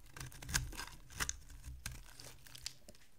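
A small metal blade shaves and carves a solid oval bar of dry white soap held in one hand, curling flakes off onto a pile of shavings below. Crisp, dry scraping and crinkly tearing strokes come in uneven bursts, with a few sharper cuts standing out over a soft low rumble.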